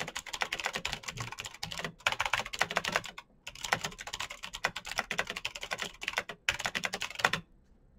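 Fingertips of both hands type fast on the keycaps of a black plastic full-size Razer BlackWidow mechanical keyboard with clicky green switches, RGB backlight and a hollow case resting on a desk mat. Dense, bright, sharp clicks rattle in quick bursts, with brief pauses near 2 and 3.4 seconds and again around 6.5 seconds. The typing stops just before the end, leaving near silence.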